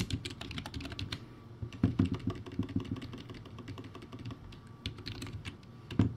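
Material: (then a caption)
Plastic. Fingertips type rapidly on a crappy plastic typewriter-style backlit keyboard with round white plastic keycaps. A steady stream of short, dry clacks has a hollow, low thud under bright clicks, with a few louder strokes standing out. A faint steady tone runs underneath.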